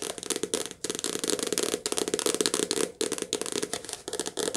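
A softcover paperback book with a glossy cover is held and its cover and edge are tapped quickly with long nails. The result is a fast, crackly stream of light clicks and rattling taps. Each tap is bright and dies almost at once, with short gaps between bursts.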